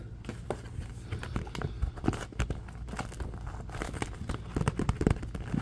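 A thin cardboard Mead box of 30 white envelopes, open at the top and partly filled, is held in both hands while the fingertips grip and tap it. The result is a steady run of short, dull taps and soft crinkly scratches. The sound is mostly low and muffled, and each tap dies away almost at once.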